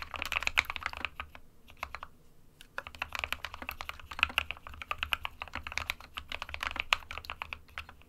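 Both hands type continuously on a small 60% SK61 mechanical keyboard with a white plastic case and plastic keycaps, resting on a desk mat. The result is a steady stream of rapid, bright, sharp clicks centered around 2.5 kHz, each dying away almost instantly, with brief pauses between bursts.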